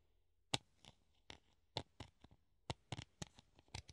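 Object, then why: Clear plastic funnel. A hollow clear plastic funnel held in both hands is tapped with the nails on its rim and cone. Irregularly spaced, short, bright clicks and taps ring only briefly, with a soft low thump under some of them, against a quiet background.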